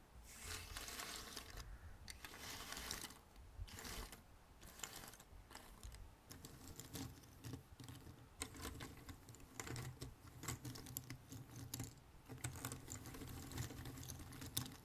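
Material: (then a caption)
Cardboard. Fingertips of both hands rummage and scratch through a heap of thin cardboard jigsaw puzzle pieces on a red table. The result is a dense, continuous patter of light clicks and dry scratchy rustling with bright edges, broken by a few brief pauses, over a faint low hum.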